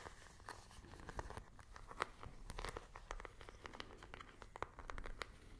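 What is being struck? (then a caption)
Small plastic remote control. A small, hollow plastic infrared remote control is tapped and scratched with long nails close to the microphones. The result is a dense run of quick, sharp plastic clicks and taps mixed with dry, crinkly scratching, each hit dying away instantly over a low, steady background rumble.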